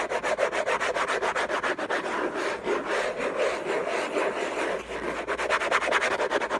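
Fingertips and nails scratch and rub the lid of a large, flat, hollow, closed cardboard gift box covered in orange textured paper. Rapid, rhythmic scratching strokes give a dry, papery rasp centred in the midrange with a bright hiss on top. The strokes come fast and distinct at the start and end, blurring into a smoother, steadier rubbing in the middle.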